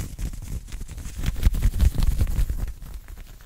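Fingertips and short nails of both hands scratch and pinch an open-weave knit cotton polo shirt worn on the chest. The result is a fast, irregular run of dull, low rubbing thumps and soft scratchy rustles that swell louder in the middle and fade toward the end.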